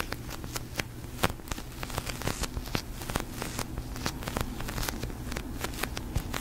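A large, soft, pink slow-rising sticky polyurethane foam squishy toy is scratched and tapped with long nails and fingertips, and pressed so it sticks and peels. The result is a steady run of sharp, bright taps and crackly, tearing sticky sounds over a low, muffled background rumble.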